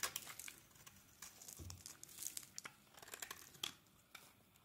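A utility blade scrapes flaky shavings off a solid, translucent glycerin soap bar held in the hand. It makes quiet, bright, crinkly scraping strokes with brief crisp peaks and little low end, each one stopping almost at once.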